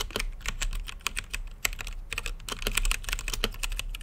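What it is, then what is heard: Plastic mechanical keyboard. Both hands type with their fingertips on an RGB-lit mechanical keyboard with plastic keycaps and a clear acrylic case. The result is a fast, steady run of crisp, bright clicks over a low thump. The strokes come in quick bursts with short gaps.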